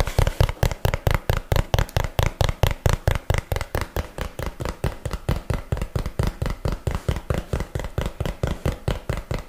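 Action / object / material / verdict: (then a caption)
tap / small cardboard box / cardboard / none. A small, hollow, yellow printed cardboard box, held upright, is tapped and knocked with fingernails and fingertips. It makes a quick, loosely regular stream of dozens of dull, hollow thuds, mostly low in pitch and with very short decay.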